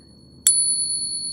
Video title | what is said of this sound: Dealer Buys DOZENS Of FAKE Silver Coins! How You Can Protect Yourself From Fakes | you will see that it is indeed genuine silver